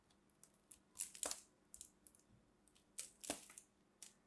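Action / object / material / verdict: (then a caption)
scrape / soap bar scraped with a small blade / soap / none. A small metal blade scrapes and cuts into a solid mint-green soap ball held in both hands, carving off crumbly shavings. Quiet, irregular bursts of crisp, bright scraping and crunching come and go, with the two strongest passes heard in the middle and later in the clip. Each short rasp fades quickly into near silence.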